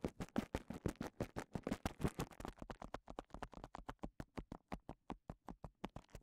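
Fingertips scratch the bubbles of a clear plastic bubble wrap cone held in one hand. The result is a rapid run of short, dry, crackling scratches, dense and overlapping at first, then settling into more evenly spaced strokes.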